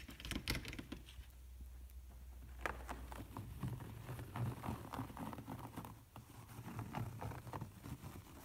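Fingertips and nails tap and scratch across a large, soft upholstered pouf covered in beige-brown waffle-grid fabric, padded rather than hollow. The sound is a quiet, irregular patter of dull, muffled taps mixed with a soft scratchy rustle, each tap dying away almost at once.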